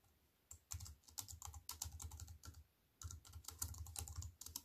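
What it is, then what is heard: Plastic computer keyboard being typed on. Fingertips with long white nails type on a compact plastic computer keyboard with black plastic keys set in a silver aluminium frame. Quick bursts of bright, clicky keystrokes with a soft low thump beneath each tap run in uneven flurries, broken by a short quiet pause midway.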